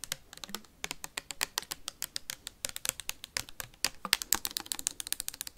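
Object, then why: Plastic sanitizer bottle. Metal paperclips rapidly tap and scratch a clear plastic sanitizer bottle with a label and white cap, partly full. Around 40 quick, bright, dry clicks and scrapes follow one another with almost no low end and no ringing after each hit.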